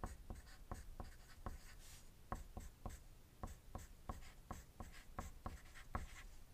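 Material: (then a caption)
Paper. A wooden graphite pencil writes on a thin white sheet of paper resting on a desk, making dense, scratchy strokes. About sixteen short, sharp taps stand out above a low, quiet scratching bed, each one dying away almost at once.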